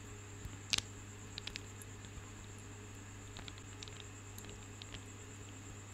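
Long fingernails tap and scratch a decorative cluster of small, solid, polished marble grapes held close to the microphone, producing about eleven short, bright, dry clicks with no ring, the loudest pair early on. A steady low hum and a faint high whine run underneath throughout.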